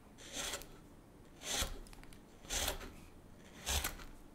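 A chisel makes repeated cuts along the handle edge of a solid, light basswood spoon blank. Four bright, rasping shaving strokes come about a second apart, each with a soft low thump beneath it and quiet, hissy pauses between.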